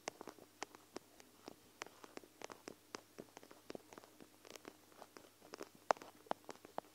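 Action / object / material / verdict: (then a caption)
tap / plastic eye mask filled with gel beads / plastic / none. Long acrylic nails scratch and tap the bead-filled edge of a small, flexible, clear plastic eye mask filled with gel beads, with white fabric trim and plush sides, held over the recorder. Quiet, sharp clicks and brief scratchy ticks come in an irregular stream, each dying away almost instantly over a faint steady hum.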